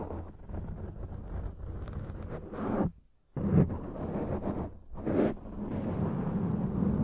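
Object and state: Foam microphone windscreen being scratched.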